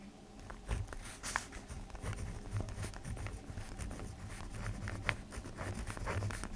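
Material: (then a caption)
Paper. A black ballpoint pen writes and scratches across a sheet of an open lined paper notebook throughout. Soft, dry scratching strokes with brief bright ticks ride over a steady low hum.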